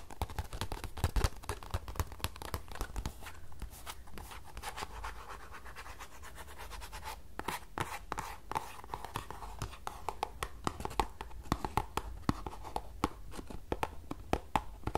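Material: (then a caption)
Cardboard. Long nails scratch and tap the front and sides of a small, closed green paperboard tea box held upright. Dense, dry scratching mixes with rapid, sharp clicking taps that die away instantly, over a steady low rumble. The tapping thins slightly mid-clip, then picks up again with brighter, more distinct clicks.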